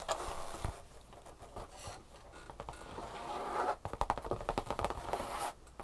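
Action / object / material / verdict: scrape / leather handbag / leather / none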